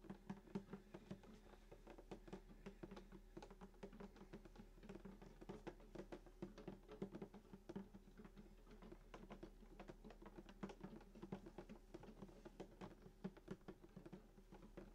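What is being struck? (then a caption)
Wooden acoustic guitar body. Fingertips tap rapidly and continuously on the top of a full-size sunburst acoustic guitar with a hollow wooden body and glossy finish, lying flat, around the bridge with the strings close by. The quiet taps give short, hollow, woody knocks centered around 195 Hz that die away almost at once, over a steady low hum.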